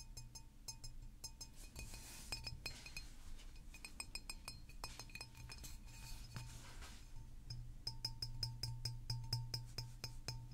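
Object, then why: Large glass bottle. A large green glass mineral water bottle with a paper label is held in the hands and tapped with fingernails. The taps come as a quick, uneven series of short, bright glassy clinks that die away almost at once, over a steady low hum.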